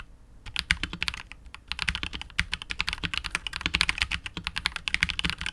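A KBD67 Lite R2 65% custom mechanical keyboard with KTT Wine Red, a hollow clear translucent polycarbonate case and PBT keycaps is typed on continuously with the fingertips of both hands. Rapid bright, dry clacks follow one another with almost no ring, over a faint low thump.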